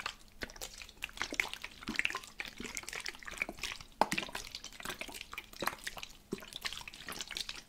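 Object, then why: Plastic spray bottle with liquid. A medium plastic spray bottle, partly filled with teal liquid, is held at its right side and shaken by hand so the liquid sloshes inside the hollow bottle. Quiet, bright, splashy sloshes and drip-like patters come in irregular bursts, with a few sharper knocks standing out, most clearly one near the middle.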